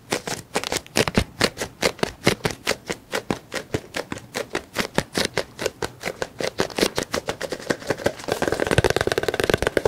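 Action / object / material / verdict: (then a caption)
tap / squeezable plastic lotion tube / plastic / none. A white and green squeezable plastic tube of cream, apparently full, is tapped rapidly with the fingertips and nails along its surface. The short, dry plastic taps come in a quick, uneven stream of several per second. Near the end they blur into a denser, faster flurry.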